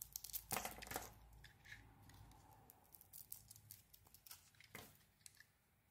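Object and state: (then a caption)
Bar of soap being carved. A metal blade scrapes and carves the surface of a solid pink soap bar with gold lettering. It makes dry, crisp scraping and crumbly shaving sounds in quick, uneven strokes, with bright rasping bursts and brief quiet gaps between cuts.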